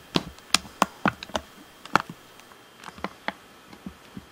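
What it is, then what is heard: Plastic game controller. Fingertips tap the face, top edge and bumpers of a hollow black plastic Xbox One controller. A series of short, dry, clicky taps with bright tops and almost no ring, spaced irregularly and fading softer toward the end.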